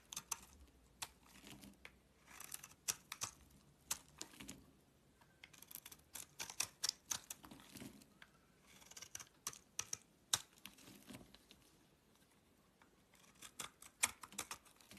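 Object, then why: Bar of soap cut with a blade. A solid green soap bar held in the palm is carved with a blade, giving quiet, crisp, bright cutting clicks and short scraping strokes. The cuts come in uneven bursts separated by brief pauses, each one dying away almost instantly with very little low end.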